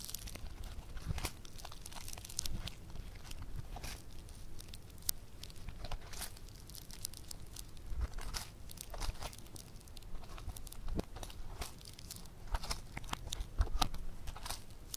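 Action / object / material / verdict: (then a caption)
scrape / foam clay lump / foam clay / none. A hand-sized, solid, bead-textured lump of yellow foam clay (floam) is stretched, squeezed and balled up by both hands. It gives a steady stream of dense crunching and crackling with short, sharp bright snaps over a low, muffled rumble.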